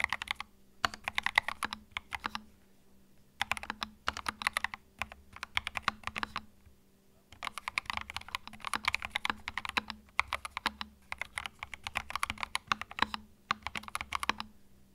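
Fingertips type on a compact white mechanical keyboard with plastic keycaps, producing bursts of sharp, bright clicks that start and stop with brief pauses between runs. Each keystroke is short and crisp with almost no ring, over a faint steady low hum.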